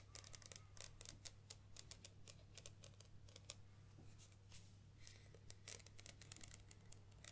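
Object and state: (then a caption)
Plastic camera lens barrel. Long nails tap and scratch on the black plastic barrel and ribbed zoom ring of a Nikon 70-300mm zoom lens with a white rear cap, held upright in hands. The result is a dense run of sharp, bright clicks and short raspy scrapes over a steady low hum.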